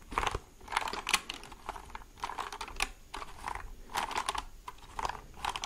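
Fingertips and nails tap on the hollow plastic case and keys of a white plastic mechanical keyboard held vertically. It makes quick bursts of dry, clicky taps with a hollow plastic tone centered around 1 kHz, plus bright upper edges. Each tap dies away almost at once.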